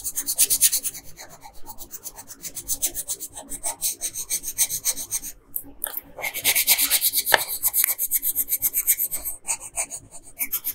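A red wooden colored pencil held in the hand rubs and scratches across a flat paper coloring page while shading a dress bow. Rapid, bright, scratchy back-and-forth strokes run steadily, with a brief pause just before the 6-second mark. The shading then resumes at a slightly louder, denser pace.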